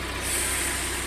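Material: Nothing is struck.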